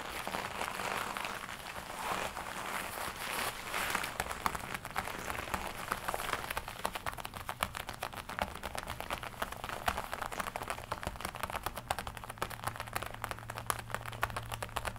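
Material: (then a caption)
Leather. Long nails tap rapidly on the chest panels of a glossy black leather jacket worn on the body, producing a steady stream of dense, crisp clicks and soft crinkles. A faint low hum sits underneath, growing slightly steadier toward the end.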